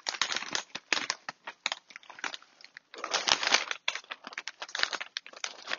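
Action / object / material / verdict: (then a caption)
shake / plastic foil snack bag of chips / plastic foil / none. A large plastic foil bag full of cuttlefish snack chips is held up in both hands and squeezed and shaken. Dense bursts of bright crinkling and rustling come in rapid, uneven clusters, with no low end. The crackling fills most of the clip and briefly intensifies near the middle.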